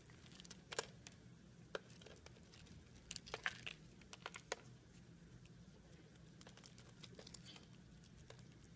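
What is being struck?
Bar of soap cut with a knife.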